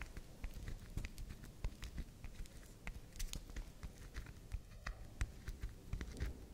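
Long nails scratch and tap the side and face of a soft, round pink swirl bar of soap held in the hand. The result is a quiet, steady stream of soft, low scraping with many brief, crisp ticks scattered throughout.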